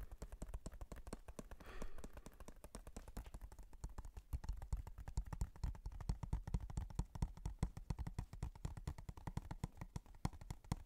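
Fingernails quickly tap and scratch the surface and edges of a thin, hollow blue plastic PS4 game case. They make a dense, uneven stream of short, sharp clicks with almost no ring. A low, hollow thump sits under the clicks, and a brief soft mouth sound is heard near the two-second mark.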